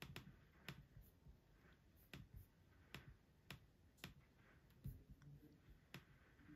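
Fingertips type on the plastic keys of an aluminum laptop keyboard, producing ten sharp, brief key clicks spread irregularly over the clip. Each click is bright and dies away almost instantly over a quiet, low background hum.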